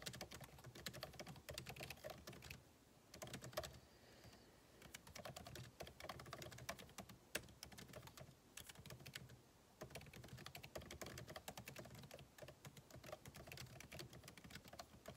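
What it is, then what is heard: Laptop keyboard with plastic keys. Fingertips of both hands type rapidly on the solid, backlit MacBook Pro keyboard, plastic keycaps set in an aluminum body, resting on a desk. Dense, crisp key clicks come in quick bursts, with a few brief pauses between runs. Each tap is short and dry, with a bright clatter over a soft low thump.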